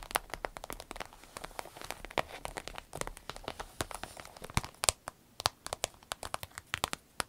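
Long nails scratch and tap an empty, medium-sized green striped glossy vinyl zip pouch, which is then held up. The result is a run of crinkly, rustling scratches mixed with many sharp, bright, dry taps that stop instantly. The taps grow sparser and more distinct toward the end.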